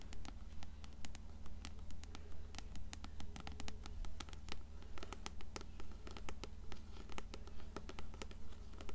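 An upright, closed paperback copy of Coraline has its blue cover scratched and tapped with long nails. Quick, sharp, dry taps and scratches repeat at a steady pace over a constant low hum.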